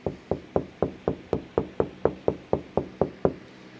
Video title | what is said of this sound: Make Ripped Drywall Look New With These Simple Tips | that's all the same sound that sounds solid and that means that we've actually taken care of it this time there's no bubbles